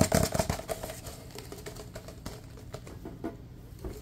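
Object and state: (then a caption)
Empty paper cup, hollow. A large, empty, hollow paper cup is tapped with fingertips while it is moved around near the camera. Quick, uneven, dull hollow taps come loudest and densest at the start, then continue more softly with a low, papery thump and very little ring.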